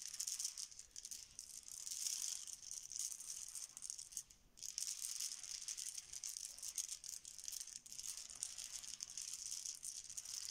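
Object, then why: Small plastic letter tiles on a stone countertop. A heap of small, solid, cream plastic Bananagrams letter tiles on a marble countertop is swirled and swept with the fingertips and hands. A continuous bright, rattling clatter of tile against tile and the stone surface is heard, with a brief lull before it resumes.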